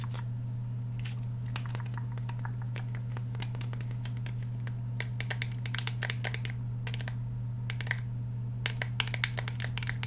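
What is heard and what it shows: Fingernails tap and scratch along the steel slide and polymer frame of a black Glock 17 pistol held upright in one hand. Quick, bright, dry clicks and scratches, growing denser and sharper in the second half, sit over a steady low hum.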